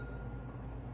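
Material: Nothing is struck.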